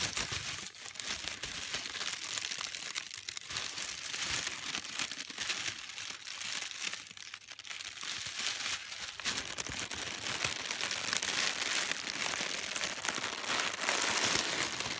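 Thin pink tissue paper is held up and crinkled and crumpled with the fingertips and nails, producing a steady, dense crackle of bright, high-pitched rustling. The sound grows louder toward the end as the paper is brought close.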